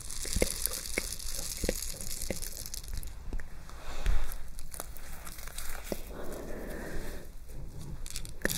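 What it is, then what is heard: Metal chain epaulette with rhinestones. Long nails scratch across the gold-tone rhinestone plate of a metal chain epaulette and jingle its metal chain fringe. The result is a steady stream of crisp scratching, crinkly rustles and sharp little clicks over a low hum, with a louder rattle near the middle.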